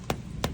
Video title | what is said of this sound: Mag-Aani tayo ng mga Pahinoging Langka | at kapag hinog, ito ang tunog oh